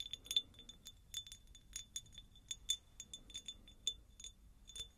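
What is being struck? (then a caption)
Cut-crystal glass jar. A medium, hollow, empty cut-crystal glass jar is tapped and scratched across its faceted surface with long nails. Quick, irregular clicks and clinks each ring bright and glassy around 3.5 kHz, then die away almost at once, with soft scratchy texture between them.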